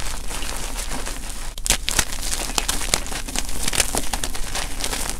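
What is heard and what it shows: Fingers dig into a powdery pile of gym chalk blocks (magnesium carbonate), crushing small solid pieces while one hand holds a chalk chunk. Dense, gritty crinkling and crunching runs throughout with frequent bright, sharp cracks, over a steady low hum.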